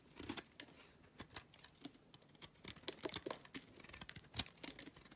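A utility knife blade cuts and scrapes thick shavings off a small solid yellow soap bar held in the fingers. The sound is a quiet, dry, crisp crackling of many rapid, short scrapes and ticks, bright and airy with little low end.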